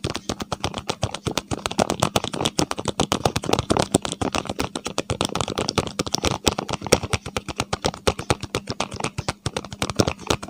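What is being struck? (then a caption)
Small paperboard box. Fingertips and fingernails rapidly tap and scratch along a small, hollow, printed paperboard medicine box held close to a clip microphone. The result is a dense, fast stream of short, dry, papery clicks and scratchy rustles with a hollow knock, over a faint steady low hum.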